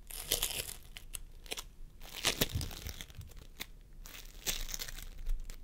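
Fingertips of both hands press and squish a pastel mound of floam sculpting foam made of polystyrene beads on a wooden table. Quiet, sticky crinkling and crackling come in irregular bright bursts over soft low thuds, each pop dying away almost at once.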